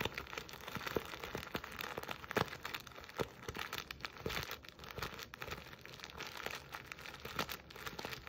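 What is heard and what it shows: Long nails scratch, pinch and rub the coarse jute weave of a soft burlap Christmas stocking with a buffalo check plaid fabric letter appliqué, close to the microphone. Dense, dry crinkling and scraping rustles fill the clip, with brief sharper scratches standing out over a steady bright texture.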